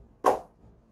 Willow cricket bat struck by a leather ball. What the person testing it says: is just pinging off of it definitely i would say this is due to the craftsmanship this is due to the willow